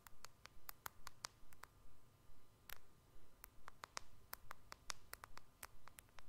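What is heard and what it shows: Fingernails tap on the glass screen of a white iPhone-style smartphone with a purple edge, held sideways. About two dozen quiet, sharp, bright clicks come in a loose, fairly steady rhythm. Each dies away almost at once over a soft low background hum.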